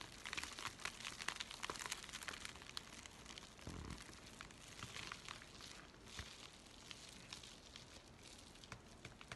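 Fingers bend, crumple and crinkle an empty white USPS paper mailing envelope. It makes a steady stream of quiet, bright, crackly paper rustles, with a brief soft low thump near the middle.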